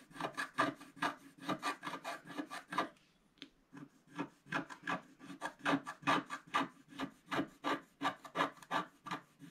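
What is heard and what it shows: A wooden stylus scrapes the black coating off a flat scratch-art paper sheet in quick, dense strokes, making a steady run of dry, bright scratching sounds. The scratching pauses briefly around the three-second mark, then resumes.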